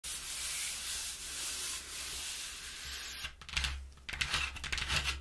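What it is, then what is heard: Cardboard box being rubbed and scratched. Long painted nails and fingertips rub, scratch and tap the inner surface of a large, empty, hollow corrugated cardboard box opened flat-ish. A steady, bright scratchy hiss runs for about three seconds, then breaks into irregular bursts of scratching and tapping. A faint low hum sits underneath throughout.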